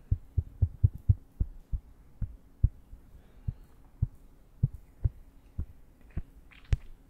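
A small strip of soft, porous castella sponge cake with a brown-orange crust is held between thumb and fingertips close to the microphone and squeezed and rubbed with the fingertips. This produces a steady series of soft, deep, muffled thumps that sound like a heartbeat, with a faint brighter rustle near the end.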